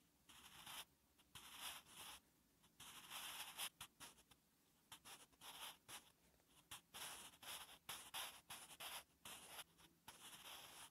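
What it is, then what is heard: Pencil writing on lined notebook paper. A wooden pencil writes on a ring-punched lined notebook page, making a series of short, dry scratching strokes separated by brief pauses. The sound is bright and hissy, with almost no low end.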